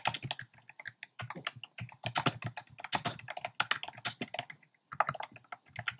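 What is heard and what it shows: Fingertips type fast and densely on a compact plastic mechanical keyboard with round pastel plastic keycaps set in a dark frame. The result is a steady stream of crisp, bright plastic clacks with very short decay and a brief pause near the five-second mark.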